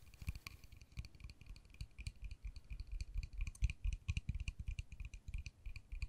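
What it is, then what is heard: Plastic case. Long nails tap a small, hollow, white-and-pink plastic case, striking both its pink face and its white edges. The result is a quick, uneven run of short, dry clicks, each a dull low knock with a bright tick on top that dies away almost instantly.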